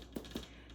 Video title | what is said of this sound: WHATS FOR DINNER (so far this month) | if it sounds hollow, then it's done. And it does sound hollow.